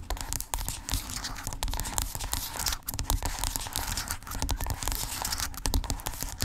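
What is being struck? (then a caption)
Squeezable plastic tube. Long pink acrylic nails scratch and tap rapidly along a small, hollow, white squeezable plastic lotion tube lying on a fluffy blanket. The result is a dense, steady stream of crackly, bright scratches mixed with quick clicking taps and soft, low, hollow thumps.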